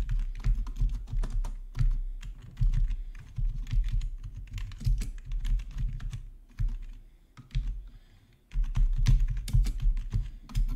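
Fingertips type across the main keys and numpad of a black plastic RGB backlit gaming keyboard. Rapid, uneven keystrokes give bright, sharp clicks over a deep, hollow thump. The typing pauses briefly near the end before resuming in a dense burst.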